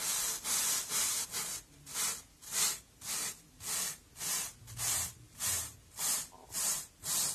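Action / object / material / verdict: scrape / foam kitchen sponge / foam / none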